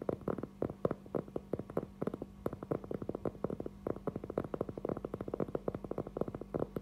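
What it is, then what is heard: Cork trivet board tapped. A round, flat cork trivet board, about 20 cm across, thin and solid, is held in both hands and tapped and scratched with fingertips and nails. A rapid, uneven stream of short, dull, hollow taps centered in the low-mid range dies away almost instantly, with faint scratching between them. A quiet, steady low hum runs underneath.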